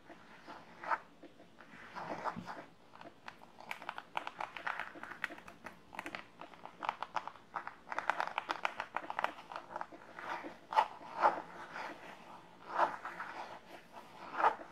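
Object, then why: Padded faux leather hard-shell zip pouch. Long nails scratch and tap the padded top of a hollow hard-shell zip pouch, or purse, made of red floral-print faux leather and lying on a table. The result is a dense, crackly run of dry scratches and quick tapping. A few sharper, louder taps stand out near the end.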